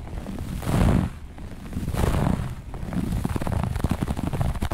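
Long nails on both hands scratch fast across a flat looped grey-beige carpet. The sound is a low, rumbling scrape that swells in broad bursts, then breaks into quicker, choppier strokes toward the end.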